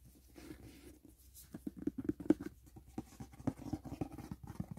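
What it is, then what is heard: Cardboard gift box tapped. Fingertips and nails tap quickly on the lid and edge of a closed, hollow white rigid cardboard gift box. A rapid, uneven run of soft, dull taps has a hollow low-mid knock and almost no brightness. Each tap dies away almost instantly.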